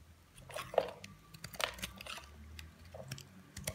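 A palm-sized solid oval white Dove-style bar of soap, held in one hand, is shaved with a utility knife blade in repeated strokes that scrape off curls. Quiet, irregular crisp scraping and crunching strokes sound close up, with bright, airy shaving noise and short clicks. Each stroke dies away almost at once.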